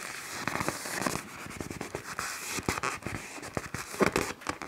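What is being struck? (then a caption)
Black plastic garbage bag. A large black plastic garbage bag, inflated into a taut hollow pillow, is tapped, squeezed and scratched by fingertips and nails on its glossy film. Quick crisp taps and crinkly scratches crackle over a steady bright hiss. Sharp bursts poke out of the rustling throughout.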